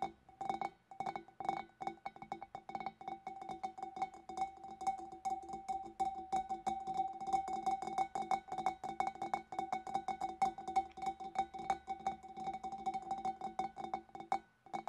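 Long black nails tap quickly with both hands on the shoulder of a large, clear, empty, hollow glass fish bowl. The result is a rapid, uneven stream of short, clicky taps with a steady glassy ring centered near 780 Hz and bright upper tones.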